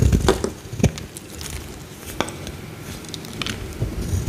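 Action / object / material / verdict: scrape / bar of soap / soap / none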